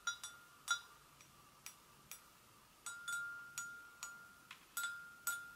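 An empty, hollow white porcelain gravy boat is tapped gently with long nails on its sides and handle, giving 13 separate light taps over about five and a half seconds. Each tap rings with a clear bell-like tone around 1.4 kHz and bright overtones above it, then fades quickly, some lingering a little longer than others.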